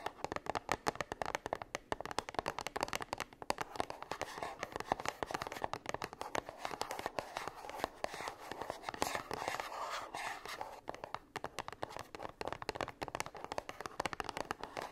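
Long pink French-tip nails tap and scratch the front and sides of a small, closed 40 ml gold-printed cardboard perfume box standing on a fluffy blanket. The result is a steady stream of rapid, dry clicks and papery scratches centred in the midrange, with a slightly hollow tone and almost no bass. Each tap dies away instantly.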